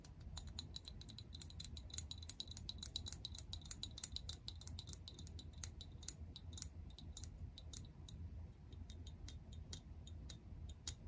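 Long press-on acrylic nails tap a medium translucent frosted plastic toner bottle with a pink cap and white label, partly full of liquid. Quick, sharp, bright clicks come in an irregular stream over a steady low rumble, each one dying away almost at once.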